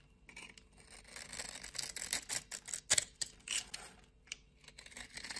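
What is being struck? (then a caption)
Soap bar cut with a knife blade. A utility knife blade scrapes small cubes off a solid, scored green soap bar held in hands with long nails. Crisp, bright scraping and crumbly clicking come in irregular bursts, with brief quiet gaps between cuts.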